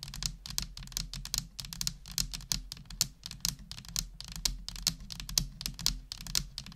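A full-size black plastic computer keyboard with hollow plastic keys is typed on continuously with the long nails of one hand. The result is a quick, uneven stream of sharp, bright clicks and clacks that die away almost instantly, over a faint low hum.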